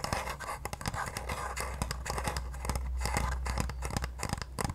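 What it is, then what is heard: Plastic facial cleansing device tapped with nails. A pale pink, oval, palm-sized handheld facial cleansing device with a hollow hard plastic shell is tapped rapidly with long painted nails. The taps are quick, dry, irregular clicks with a faint scratchy edge, over a steady low hum.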